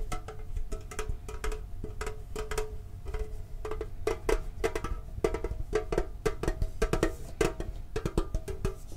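Fingertips tap quickly on the lid and sides of a hollow, hand-sized hexagonal printed metal Pokemon card tin held in both hands. The taps are short and hollow, each with a brief metallic ring around 445 Hz that dies away almost at once. They fall in quick, uneven clusters over a steady low rumble.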